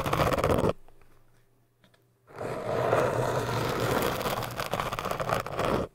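A bent paper or card business card, held in both hands, scrapes and rubs its edge along an upright orange cylinder of hard, solid foam like a pool noodle. A short burst of dry, scratchy scraping is followed by a near-silent pause, then a longer, steady run of rough, crackling rubbing that stops abruptly.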